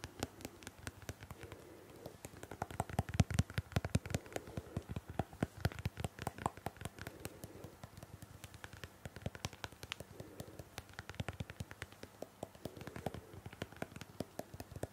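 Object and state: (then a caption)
Plastic hairbrush. A pink, hollow-backed plastic detangling hairbrush is held in the hand while long painted fingernails tap rapidly on its shell. The result is a quiet, continuous stream of short, dry clicking taps with a hollow low thump beneath them. The taps come in bursts and vary in strength.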